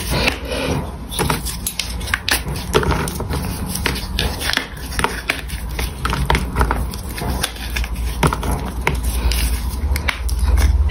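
Small chunks of pink gym chalk are rubbed and ground together between both palms above a pile of broken chalk. Dense, crumbly scraping and crackling runs throughout, with many quick crunches over a steady low rumble.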